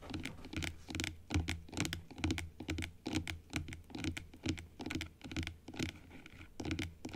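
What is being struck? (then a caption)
Plastic dental teeth model. Long acrylic nail tips tap and scratch across the rows of teeth on a hollow plastic dental model, first turned sideways and then held upright. The result is a quick, uneven patter of dry, hollow clicks with bright scratchy edges over a low, hollow thump.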